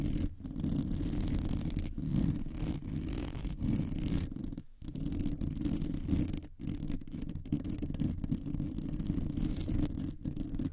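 A rounded, hollow metal mesh microphone grille is scratched quickly with long nails by both hands. The result is a dense, continuous scratching rasp, heavy in low rumble with only a faint bright edge, broken by a few brief pauses.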